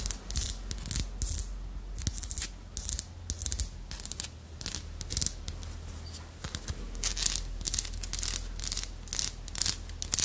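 Long nails scratch and tap along the ridged back of a small, solid carved wooden armadillo figurine. Bursts of bright, dry scratching alternate with quick, sharp taps, all over a steady low hum.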